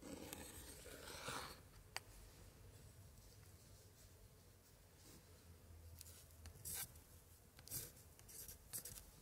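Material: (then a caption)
Paper. A gloved hand traces a thin pointer stick over an open 1880s scrapbook spread, with thick paper pages and pasted printed cards, rubbing and scratching the paper. Quiet, steady dry rubbing is broken by a sharp tick early on and several short, brighter scratches toward the end, all on the same spread.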